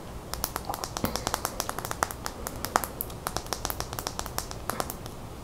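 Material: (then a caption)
Plastic. Long fingernails tap quickly and irregularly on a small hollow plastic mascara tube with its cap on, held in the hand. The result is a rapid run of sharp, bright clicks with a faint hollow tone that die away almost instantly, over a soft, steady background hiss.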